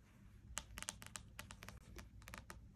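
Fingertips and nails tap and lightly scratch the card cover of a closed spiral-bound paperback wordsearch puzzle book. Quiet, bright, dry clicks and short scratchy strokes come in an irregular run over a low, steady background rumble.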